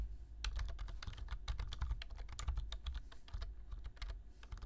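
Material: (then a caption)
Plastic. Fingertips type quickly on a black plastic low-profile computer keyboard, producing a rapid, uneven stream of short, crisp key clicks with bright highs. A steady low hum sits underneath throughout.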